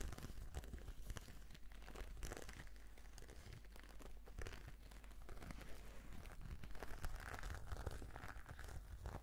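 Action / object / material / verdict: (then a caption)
scrape / patent faux-leather brush case / faux leather / none. Long nails scratch a black glossy embossed patent faux-leather brush case, making a steady stream of soft, dense scratching and crinkling sounds. The sound stays quiet throughout, with a low rumble underneath and brief bright scrapes on top.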